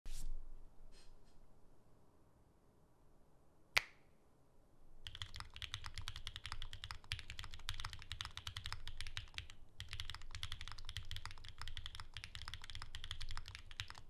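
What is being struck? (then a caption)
Mechanical keyboard with plastic keycaps. A pink ergonomic Alice-layout Bear 65 mechanical keyboard with a hollow case and pink and white plastic keycaps rests on a desk mat and is typed on rapidly with the fingertips of both hands. After a quiet start and a single sharp click near four seconds, a steady stream of bright, clacky keystrokes with a low thump runs to the end, broken by one brief pause.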